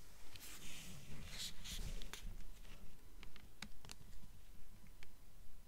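Long nails tap and scratch the glossy paper dust jacket on the front of a purple hardcover book held up close. About nine soft, steady taps sound at an even pace, each a short dry click with little ring, mixed with brief bright scratching over a low, muffled rumble.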